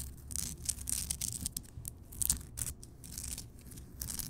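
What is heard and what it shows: Long nails scratch and tap the rough crystal surface of a large, solid, lit Himalayan rock salt lamp. Bright, dry scraping rasps and quick, short taps come in uneven bursts over a faint low rumble, with each sound dying away almost at once.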